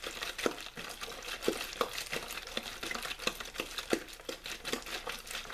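A hollow clear plastic water bottle with a blue label is squeezed and crinkled by hand. It gives a continuous bright crackling with many sharp, quick-decaying pops and little low end.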